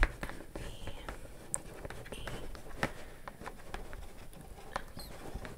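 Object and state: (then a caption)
Cardboard gift box. Long yellow acrylic nails tap and scratch across the lid of a large, flat, dark-brown cardboard Versace box with a silver logo, which is hollow and closed. Quiet, dull, hollow taps with very short decay come in an uneven run, mixed with soft scratchy rustling over a low, boomy body. A few sharper clicks stand out brighter than the rest.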